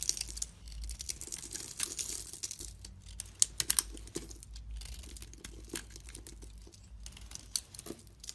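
A metal utility-knife blade scrapes and shaves a solid, hand-sized oval bar of soap with a glossy pink outer layer and a white core, held by a hand with long painted nails, as the pink layer is peeled off and the white soap carved. The clip is filled with bright, dry scratching and crinkly crackles. Sharp little snaps stand out just after the midpoint and near the end.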